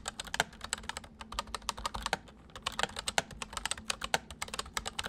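Fingertips type on the main keys and numpad of a full-size white plastic mechanical keyboard with white keycaps resting on a wooden desk. A steady stream of quick, bright clacks, some louder than others, each dies away almost at once over a faint low hum.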